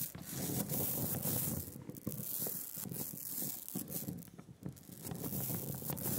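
A rubber brayer rolls a smooth, sticky layer of black printing ink across a glass slab. It makes a continuous tacky, sanding-like hiss, heavy in the low end, with soft crackling peel as the roller lifts from the ink on each back-and-forth pass.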